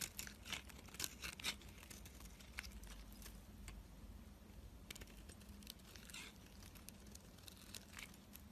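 A utility knife blade scrapes across a solid white soap bar held in the hand, curling off thin shavings. Quiet, dry, bright scraping and crinkly crackles come in a fast, uneven string of short strokes over a low steady hum.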